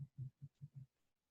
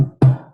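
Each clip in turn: First: shell-less egg, soft membrane. Second: hard-shelled chicken egg.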